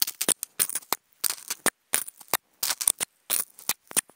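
Wooden toothpicks scratch across a hollow, octagonal white polystyrene foam food container. The result is short clusters of quick, dry, bright scratchy squeaks with almost no low end, each stroke stopping dead and separated by brief silences.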